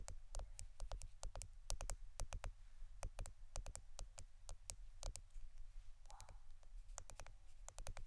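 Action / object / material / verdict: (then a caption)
tap / plastic adhesive tape roll / plastic / none. A roll of plastic adhesive tape is tapped and scratched at a close, steady pace. Rapid, dry, sharp clicks with bright tops die away almost instantly, with a brief scratchy rustle near the six-second mark. A constant low hum sits underneath.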